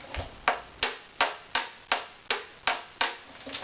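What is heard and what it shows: A wooden violin back plate for an Opus #04 violin is tapped at several spots to check how even its tap tone is, giving a steady series of short, dry knocks with a mid-range ring that fades almost at once. The tap tone is judged fairly even across the plate.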